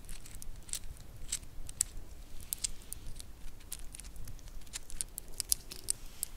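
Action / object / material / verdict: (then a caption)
tap / wooden segmented bracelet / wood / none. Fingernails scratch and tap a black wooden segmented bracelet with white star inlays while it is bent, so the segments click against each other. Quiet, sharp, bright clicks and light scratches come in an uneven patter over a soft low rumble, each click dying away almost instantly.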